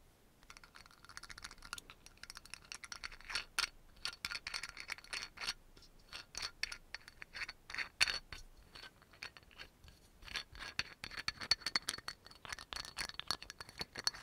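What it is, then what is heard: Amber glass dropper bottle. A brown amber glass dropper bottle with a black dropper cap has its cap quickly twisted and tapped while fingernails tap the glass. Dense, rapid clicks and scratchy ticks come in fast bursts, bright and crisp with almost no low end, and each tap dies away almost at once. A faint thin high tone runs under the tapping throughout.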